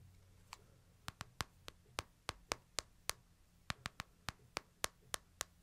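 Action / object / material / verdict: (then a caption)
tap / smartphone with glass screen and metal or plastic body / glass, metal / none. Fingertips tap the back and side of a solid, hand-sized smartphone with a glass screen and metal/plastic body, held upright in one hand. Eighteen short, sharp, bright ticks land at an uneven pace, each dying away almost instantly. A faint low hum sits steadily beneath them.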